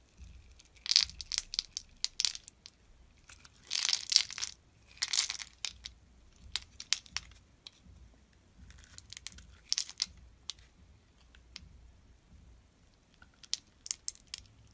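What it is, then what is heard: Bar of soap. A solid translucent red bar of soap, held in the hand, is scored in a grid and sliced with a metal box-cutter blade so small cubes fall off. Crisp, bright crunching and scraping bursts come in uneven clusters, with quiet gaps between them and almost no low end.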